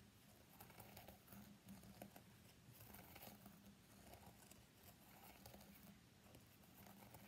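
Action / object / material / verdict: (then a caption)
tap / smartphone in a plastic case / plastic / none. Fingertips and nails of both hands tap and lightly scratch the back of an iPhone X in a pale green plastic case with a flower print, lying face down on a black desk mat. A quiet, continuous patter of soft clicks and light scratchy rustling runs throughout, over a faint steady low hum near 200 Hz.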